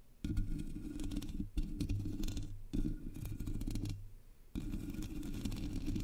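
Long nails scratch the sides of the black hollow metal mesh grille on a Blue Yeti microphone, then both hands scratch its top. The result is a dense, rough scraping heard as a heavy low rumble with faint brighter hiss, broken by a few short pauses before the scratching resumes.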